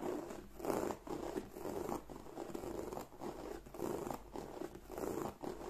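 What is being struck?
Croc-embossed leather bag.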